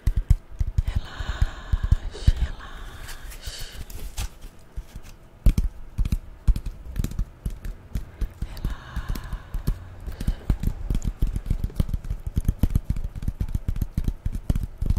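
A brown corrugated cardboard strip, held in both hands, is tapped and scratched with long painted nails. The result is a dense run of quick, dull, low taps that die away almost instantly, mixed with softer scratchy passages.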